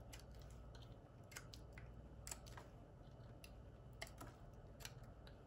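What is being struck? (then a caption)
Bar of soap cut with a metal knife blade. A small solid white soap piece held in the fingers is carved with the metal blade of a red-handled utility knife. The cuts come as short, dry, crisp scrapes and snaps with bright high edges, spread unevenly over a steady low hum.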